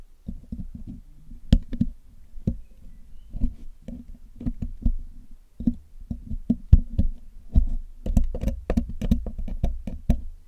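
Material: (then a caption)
Metal mesh. A metal needle pick and metal tweezers tap and scrape against the hollow black metal mesh grille of a Blue Yeti microphone while it is being cleaned. A steady run of short, dull ticks and knocks comes through heavy in the low end, each dying away almost instantly. The taps grow quicker and sharper toward the end.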